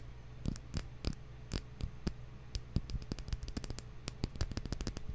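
A glass bottle is tapped, slowly at first and then more quickly, giving a run of short, dry clinking taps with almost no ring. A steady low hum sits underneath.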